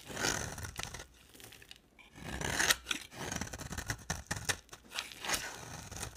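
A solid, dry orange bar of soap is shaved in repeated strokes with a hand-held box cutter blade. Each stroke gives a bright, crisp scraping rasp with a crumbly, tearing texture, and brief quiet pauses fall between the bursts of shaving.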